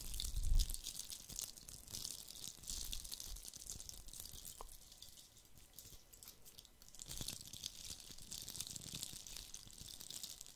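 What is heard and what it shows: A fist-sized, hollow red plastic Christmas bauble coated in glitter is held in one hand and scratched with fingertips and nails. The scratching makes a steady, quiet, crackly rasp with a bright, hissy edge, opening with a soft low thump and continuing in dense gritty scrapes for about ten seconds.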